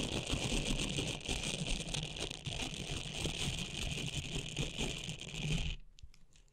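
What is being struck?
Silicone facial cleansing pad with textured nubs.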